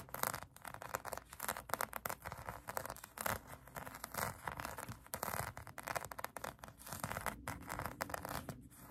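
A pink polyurethane foam donut squishy toy is scratched by long acrylic nails, giving a steady run of quick, dry scratching and scraping strokes with a bright, hissy texture. The strokes come in rapid bursts of varying strength with almost no ring after each one.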